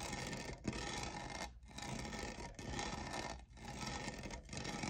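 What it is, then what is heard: Plastic studded tumbler being scratched. Fingernails scratch the textured lower side of a tall, hollow, lavender plastic studded tumbler that appears empty. The result is a steady, bright, rasping scrape with short pauses between strokes and no ring after each one.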